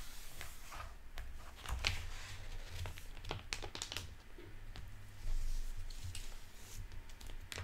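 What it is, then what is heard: Hardcover book with plastic-covered dust jacket. Fingertips and nails tap and scratch the glossy plastic-covered paper dust jacket and cover of a hardcover library book, "Promise to Obey," lying on a wooden table as it is opened and then closed. Quick, sharp taps and crisp crinkles ring out over a steady low hum.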